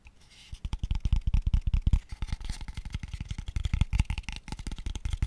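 Fingertips tap quickly on a small, empty, hollow, open-ended pale wooden square tube box held above the mic. A fast run of short, dry, deep hollow thuds centers around a low 70 Hz boom, with each tap dying away almost instantly.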